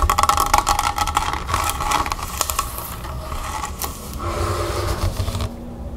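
Long red nails tap rapidly on the labelled body of a large plastic Mineragua club soda bottle, partly full of water and standing on a wooden table. Quick, irregular clicky taps carry a hollow plastic tone, loudest in the first two seconds. They then thin out into softer tapping and scratchy rustling that fades near the end.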